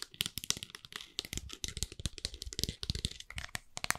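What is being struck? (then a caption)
Plastic bottle with flip cap. Fingernails rapidly tap and click on a clear plastic bottle with a white flip cap, holding some liquid, as it is gripped in the hands. The sound is a dense stream of sharp, bright clicks with soft low thuds and faint crinkling underneath, each tap dying away almost instantly.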